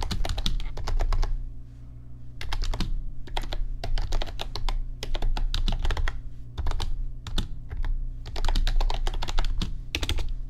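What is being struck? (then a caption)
Plastic computer keyboard. Fingertips type on an RGB backlit computer keyboard with plastic keys, producing bursts of rapid, bright clicking separated by short pauses. A steady low hum runs underneath throughout.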